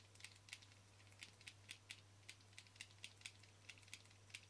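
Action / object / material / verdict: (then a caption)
tap / plastic camera lens cap / plastic / none. A black plastic Canon lens cap, small and flat and held in one hand, is tapped with fingernails on its front face and rim. The result is a quiet, steady series of short, bright, dry clicks with almost no ring, over a faint constant low hum.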